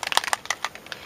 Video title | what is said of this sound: January Mediums Add On- Make Friends with Your Mists | you shake it you can hear that that's in there